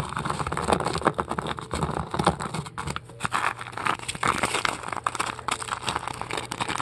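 Long acrylic nails scratch and pick at the surface of a large, solid white polystyrene foam ball. The result is a dense, continuous stream of loud, crunchy crackles and squeaky scrapes over a faint steady low hum.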